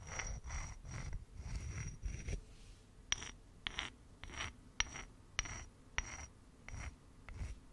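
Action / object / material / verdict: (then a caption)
scrape / rough grey stone / stone / none. A flat, hand-sized, solid grey rock with a rough surface, found in the forest, is held in one hand and scratched and rubbed with the fingernails of the other close to the microphone. Soft rasping strokes with a low rumble alternate with sharp, bright scratches and clicks, in an irregular rhythm with a steady high whistling tone running through them.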